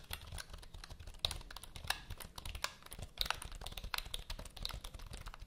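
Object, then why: Plastic computer keyboard. Long nails type and tap on the keys of a full-size black plastic HP computer keyboard held at an angle. The result is a steady, irregular stream of quick, bright plastic clicks with a few sharper taps standing out, over a soft low rumble.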